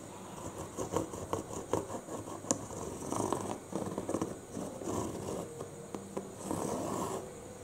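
Short nails and fingertips scratch and tap the green side panel, then the blue side panel, of a medium-size, hollow, printed cardboard UPS box. Dry, papery scratching runs throughout, broken by sharp, hollow taps that die away almost instantly.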